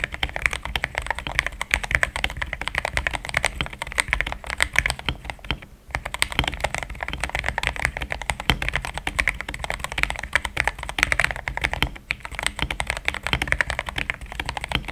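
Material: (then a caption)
Plastic. Fingertips type steadily on a cream mechanical keyboard with plastic XDA keycaps, producing a dense, continuous stream of short, bright clicky keystrokes with a low steady hum beneath. Brief pauses break the typing around six and twelve seconds.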